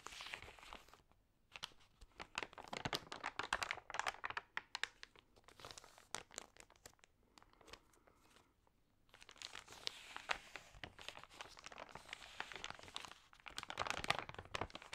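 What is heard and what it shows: Fingertips and long nails rub and crinkle the damp pages of an open, water-sprayed glossy paper magazine. The result is dense, bright crackling and crisp snapping clicks. The sound is busiest at the start and over the last six seconds, with a quieter, sparser stretch in the middle.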